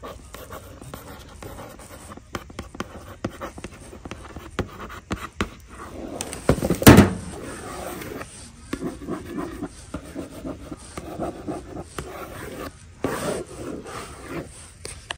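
Long nails tap and scratch the printed face of a large cardboard box for a pet car booster seat sitting in a shopping cart. The clip is mostly quick, dull taps with soft scratching between them, and one louder, brief scrape in the middle.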